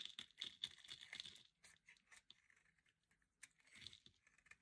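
A metal utility blade shaves curls off a solid, hand-sized red bar of dry soap held by long nails. Quiet, bright, crisp crackling and scraping come in dense bursts for the first second and a half, then thin out into sparser dry scrapes and ticks. The last second ends with a short, hissy shave.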